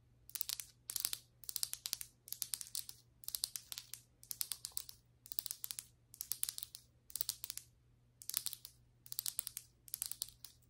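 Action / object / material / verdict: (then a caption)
tap / ceramic floor tile / ceramic / none. Long white acrylic nail tips tap and scratch the surface of solid ceramic floor tiles. About ten short bursts of rapid, dry, bright clicks and scraping crackle follow one another, each dying away instantly. Quiet pauses between them leave only a faint, steady low hum.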